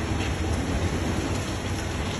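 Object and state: Nothing is struck.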